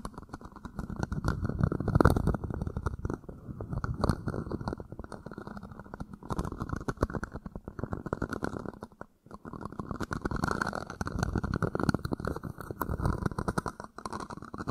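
An empty, thin red plastic party cup is held against a microphone and repositioned while fingers scratch and rub its wall and base. The result is a dense, muffled stream of scratching and rustling, heavy in the low end with only faint high hiss. There is a brief near-silent gap around the nine-second mark.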